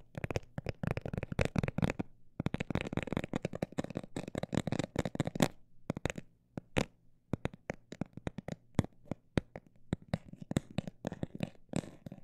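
A textured cosmetic bag is tapped in quick bursts, then more slowly and sparsely, giving dense runs of short, dull, crinkly taps. Each tap is very brief and has a low, soft body with little high brightness. Brief pauses break up the rhythm.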